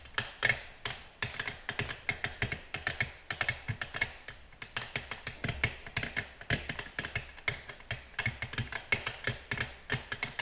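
Long natural nails tap on a flat, solid, glossy black glass tabletop in a quick, steady stream. Each tap is a short, bright click with almost no ring, the taps clearly separate throughout.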